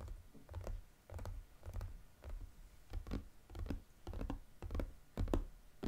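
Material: Cardboard.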